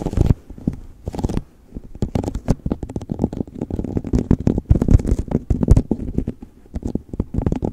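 An empty clear plastic cup with a sticker label sits upside down over a fluffy microphone windscreen and is tapped and scratched with fingertips and nails. A steady stream of quick, hollow, muffled thumps mixes with soft scratchy crackles, heavy in the low end with very little brightness. Each tap dies away almost instantly.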